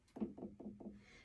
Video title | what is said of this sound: How to Trim Your Piece (full length) | if it sounds Hollow that means your floor is thin if your TAP sounds a little bit more like a thud it means that there's a little bit of weight there